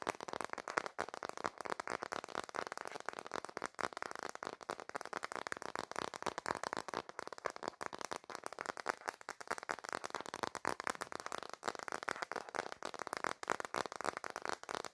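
A smartphone in a black plastic case, held in both hands, has its back and edges tapped rapidly with fingertips and nails. The result is a dense, continuous stream of quick, dry plastic clicks and taps, centered in the midrange around 1.3 kHz, with almost no bass and no ring after each hit.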